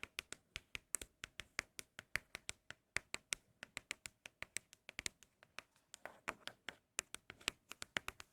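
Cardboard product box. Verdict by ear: Empty.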